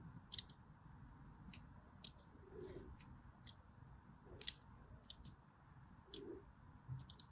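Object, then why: Bar of soap cut with a blade. A blade cuts diagonal grooves into a solid white embossed bar of soap held horizontally. Short, bright, crisp scraping clicks recur through the clip over a soft low background hiss, with a few faint duller scrapes in between.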